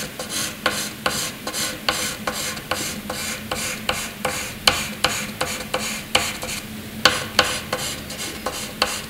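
A graphite pencil scratches across a sheet of white paper, drawing long curved hatching strokes. About twenty-two quick, bright, dry scratching strokes sound in a steady rhythm, each starting with a sharp attack and fading quickly over a faint, constant rasp.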